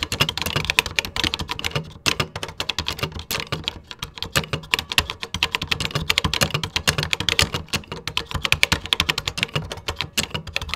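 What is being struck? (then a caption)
Plastic computer keyboard. Fingertips type quickly on the beige plastic keys of a Tandy computer keyboard. Dense, rapid keystrokes make sharp, bright plastic clicks with a light low thump beneath, each one dying almost instantly. The steady clatter runs for about eleven seconds with only brief pauses.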